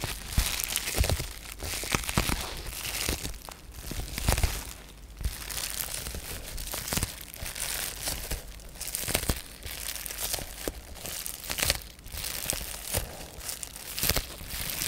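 Fingertips and nails scratch, rub and crinkle the surface of a sheet of blue-tinted polyethylene bubble wrap with air-filled bubbles. The result is a steady, bright crackling and crinkling, broken by sharper snaps and soft low thumps, with brief quieter pauses between bursts of handling.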